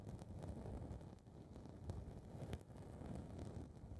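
Long red nails scratch and rub the small blue foam windscreen covering one capsule of a metal handheld recorder mic. The result is a steady, muffled, low rumbling rustle concentrated in the bass, with faint brighter scratchy streaks as the nails drag across the foam.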